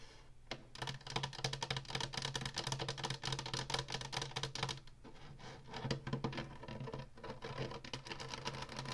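Long nails tap and scratch the ridged top and button panel of a hollow plastic Atari console. Rapid, dry, clicky taps blend with bright scratching over a steady low hum, easing briefly around the middle before picking up again.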